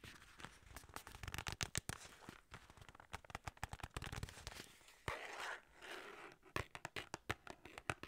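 Fingers and nails tap and scratch the sides of a hollow, long, narrow white paperboard skincare box with a yellow label. A rapid, uneven run of short, dry, hollow taps with bright clicky edges is broken by stretches of rough, papery scratching.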